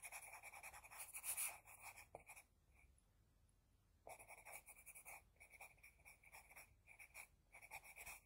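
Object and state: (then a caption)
Pencil scratching on drawing paper. An HB pencil scratches a flat sheet of drawing paper in many quick strokes while shading an eye, producing a dry, bright scratching with a strong high hiss. A burst of rapid strokes is followed by a quiet pause of about a second and a half, then the quick scratching resumes in short, uneven bursts until the end.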